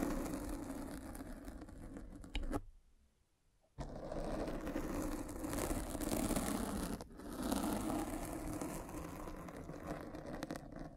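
A derma roller with metal spikes is rolled across a black foam windscreen on a microphone, producing a dense, crunchy scratching with a low rumble underneath. The scratching runs continuously, stops for about a second of near silence just before the 3-second mark, then resumes with a brief dip around 7 seconds.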